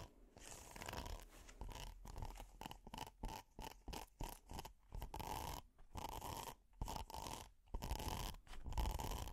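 A flat red hexagonal silicone pot holder with a honeycomb texture is scratched with metal finger picks and nails. The result is a run of short, irregular rasping, crunchy scrapes separated by brief silences, with a dull low thump under each stroke and a faint steady tone near 1 kHz.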